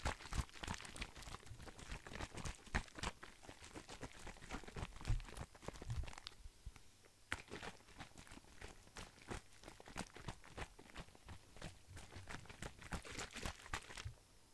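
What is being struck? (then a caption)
Plastic cosmetic bottle. A hollow, hand-sized blue plastic skincare bottle with a white cap is held sideways and tapped and handled with fingertips close to the microphone. The result is a quiet, fast, irregular run of short taps and crinkly scratches with a low thump beneath them and a bright edge. The taps ease into a brief lull around the middle before picking up again.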